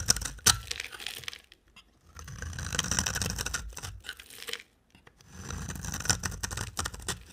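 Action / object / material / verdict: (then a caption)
scrape / soap bar scraped with a blade / soap / none. A box cutter blade scrapes and carves a solid, dry orange-brown soap bar held in a hand with long dark nails. Bright, crumbly scraping and flaking comes in three bursts separated by short silences, with a sharp crisp snap near the start.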